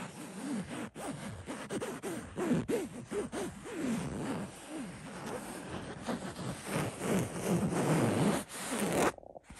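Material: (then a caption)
Cotton fabric. Fingertips and short nails scratch and rub the woven cotton surface of a soft, fabric-covered throw pillow with a pink and cream floral print. The result is a steady run of quick, dry, raspy strokes with swooping low rises and falls, loosely rhythmic and growing denser and louder toward the end before stopping abruptly.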